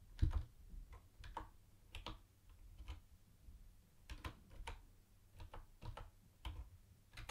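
Fingertips type on a mint-green plastic retro keyboard with round white plastic keycaps, first with both hands and then with one. About eighteen quiet, separate keystrokes each give a short bright plastic click over a low thud, and each dies away almost at once.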